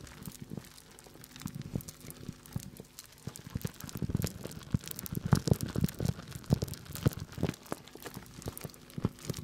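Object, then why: Plastic bag of dried corn kernels. A hand-sized clear plastic bag full of small yellow dried corn kernels is held up and handled with the fingertips, crinkling the plastic and shaking the kernels. The result is a steady run of soft crinkles and dry, short rattling ticks, sparse at first, then denser and louder through the middle before easing off. The sound is mostly low and muffled, with little brightness.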